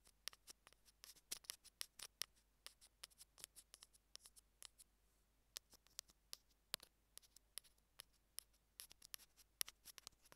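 Metal tweezers rapidly tap and pinch along the edges of a small, hollow, white plastic Apple earphone mic remote. About 34 sharp, bright clicks and ticks sound in quick, irregular succession, each dying away at once with almost no low end. The result is a quiet, crisp patter of tiny plastic-and-metal clicks.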